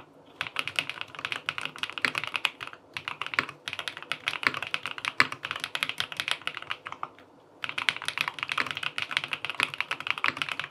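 A QK80 tenkeyless mechanical keyboard with an aluminum case, cream and peach plastic keycaps and linear switches sits on a desk and is typed on with fingertips. Continuous, rapid, bright clacking key taps are heard, each dry and short, in bursts separated by brief pauses.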